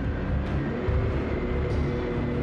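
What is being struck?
Nothing is struck.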